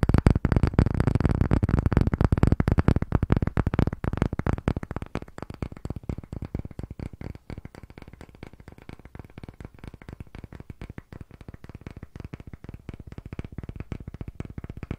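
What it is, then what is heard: Solid round wooden block. Fingertips and short nails tap rapidly on a solid, thick, round disc of pale wood held close to the microphone. A dense stream of short, dry, woody knocks with a deep, low-heavy body barely rings out, louder and fuller for the first few seconds, then softer and slightly more spaced for the rest.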